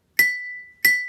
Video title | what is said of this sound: Sounds Bottles, Tuning Forks and Xylophones - Science Class with Mister C | it sounds like it got higher in pitch